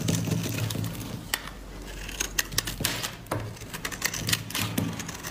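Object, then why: Bar of soap scraped with a metal blade. A metal utility blade scrapes and carves shavings from the faceted surface of a solid, palm-sized pink dry soap bar. Dry, crisp scraping is punctuated by sharp, bright clicks and crackles as pieces break away, over a steady low hum.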